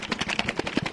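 A container of sauce mixture with added water and ice is shaken hard, producing loud, bright rattling bursts in quick succession. The shaking continues until the rattle grows quieter, a sign that the sauce has thickened and come together.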